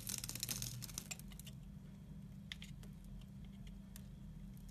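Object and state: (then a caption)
Soap bar being scraped. A red-handled metal knife cuts and scrapes a solid blue-and-white striped soap bar, chipping pieces off it. A dense run of crisp, bright crackling and scraping opens the clip. It then thins to scattered sharp clicks and faint scrapes over a steady low hum.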